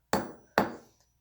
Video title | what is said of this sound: malleability and brittleness | it does not pound into sheet. It breaks up into little pieces. It is not malleable.